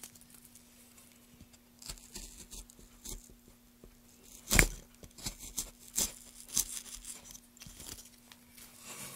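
A solid pale softwood board is carved with a gouge and scraped along the grain by gloved hands. The clip is full of dry, bright tearing and scraping strokes over a faint low hum. One sharp, louder cut stands out in the middle among quieter bursts.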